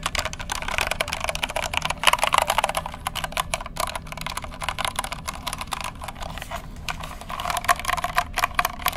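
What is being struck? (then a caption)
Plastic mechanical keyboard. Fingertips type on the keycaps of a compact white plastic mechanical keyboard with a hollow case, held in both hands close to the microphone. A rapid, continuous stream of short, bright clicks and clacks is heard, each dying away almost instantly. Brief bursts of harder, louder typing come around two seconds in and again near the end.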